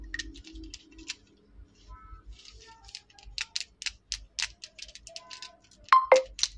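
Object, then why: Plastic lip liner pencil tapped with fingernails. Long acrylic nails tap and scratch along the shaft of a slim, small, solid pink plastic lip liner pencil held up close. A quick string of bright, dry clicks and short scratchy rasps plays out, with faint tonal pings near 1 kHz, ending in two louder, sharper taps.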